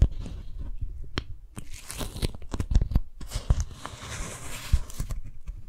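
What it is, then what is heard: Beeswax-coated cotton food wrap. A small strawberry-print beeswax-coated cotton food wrap is held in both hands while fingertips and long nails stretch, pull and grip the waxed fabric. This produces dense, close crinkling and crackling with sharp, tearing-like snaps and soft low thumps. Brighter stretches of rustle swell and fade throughout.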